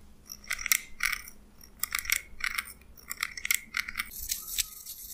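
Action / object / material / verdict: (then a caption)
strike / small steel scissors / steel / none. Small steel scissors with a purple handle, held by the fingers, are snipped repeatedly, their blades clinking metal on metal. Each snip is a short, bright clink ringing around 2 kHz with high shimmer above, coming in uneven bursts over a faint low background hum.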